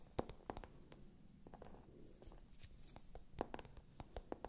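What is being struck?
Faux-leather zip pouch.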